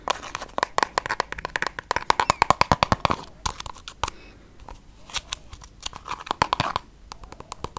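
Long yellow nails tap and scratch a small pink plastic balm tube that is hollow and filled with product. Quick, dry clicking taps mix with bursts of scratchy rasping and a faint tone near 1 kHz that comes through during the faster runs. The taps come in uneven clusters, fading into quieter scratching before picking up again.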